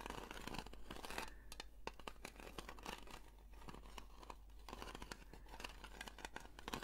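A small, round blue metal Nivea cream tin, likely filled, is turned in the hands while long nails scratch slowly across its lid and rim. The sound is a quiet, dense, dry scratching and crinkling texture broken by sharp, bright ticks and clicks, all over a steady low hum.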